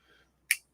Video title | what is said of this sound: Blade Runner Score | at least it sounds solid